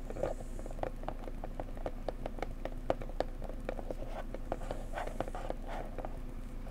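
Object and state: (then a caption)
Cardboard gift box. Long nails and fingertips gently tap a small, square, printed cardboard gift box with a blue floral design, made for a bone china mug and likely holding the mug, while the box is held by its sides. A steady patter of quick, light, hollow taps centers near 530 Hz and dies away almost instantly over a low background rumble.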